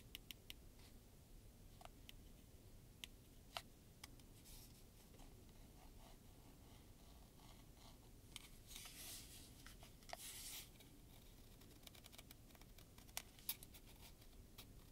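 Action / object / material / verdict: tap / plastic heat gun housing / plastic / none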